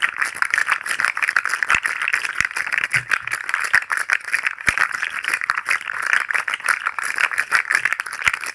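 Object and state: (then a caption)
Plastic articulated fidget slug toy. A hand-sized fidget slug toy made of hollow, jointed, multicolored plastic segments is held in the hand and flexed and twisted by the fingers so its segments rattle. The result is a steady, dense run of quick, dry plastic clicks with no low end, centred around 2 kHz with a bright edge, continuing for the whole clip.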